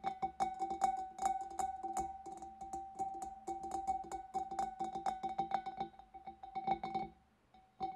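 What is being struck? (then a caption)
Glass fish bowl. Long dark nails tap rapidly on the front of a large, clear, empty glass fish bowl, then on its wavy rim. Each tap is a quick, bright click over a steady ringing tone near 780 Hz. The tapping goes on almost without a break, falls quiet for a moment near the end, and closes with one last tap.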